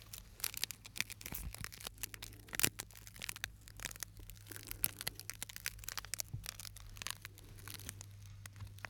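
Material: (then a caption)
Glass. A small, flat, clear shard of broken glass is held between the fingertips of both hands close to the microphone, and the fingers rub and scratch it, possibly against other shards. The result is a dense run of bright, crackling scratches and sharp little clicks, with a few louder snaps, over a faint steady low hum.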